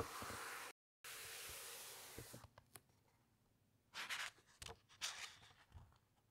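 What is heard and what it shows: Fingertips and long nails of both hands rub over the thick, uncoated paper pages of a large open encyclopedia, making a steady, bright, airy scratching hiss that briefly cuts out to complete silence. The rubbing then fades to soft, scattered taps and scrapes, and a page is turned with a few crisp rustling swishes near the end.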